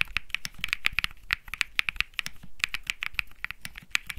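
Fingertips type quickly on a Think 6.5 65% mechanical keyboard with light grey and peach Bsun Lollipop plastic keycaps, its metal-looking case resting on grey felt. About 25 rapid, short clacky key taps are heard, each a sharp, bright click centered near 2.4 kHz with a soft low thock beneath and almost no ring.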